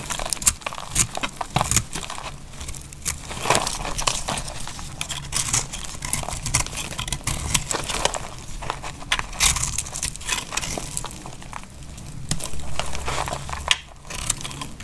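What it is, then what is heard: Dry soap bar being cut. A solid, dry white soap bar with a blue rim is held in the hand and cut with a metal utility knife blade. Crisp, crumbly crackling and scraping continue throughout as the blade shaves through the bar, with dense short clicks, bright high-end grit and a low background rumble.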